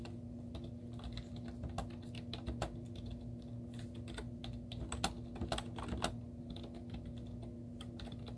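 Long teal-painted nails and fingertips type rapidly on a white plastic laptop keyboard with cartoon stickers on its hollow keys. Quick, hollow plastic clicks and taps run over a steady low hum, with a few sharper, louder key strikes standing out near the middle.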